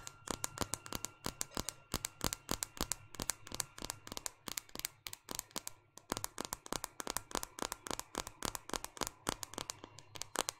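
Long painted fingernails rapidly tap and scratch the glass screen and plastic edges of a small white smartphone held in one hand. About 63 sharp, bright clicks come in a fast, steady stream, each dying away almost instantly. Faint scratchy rustling and a low background hum sit underneath.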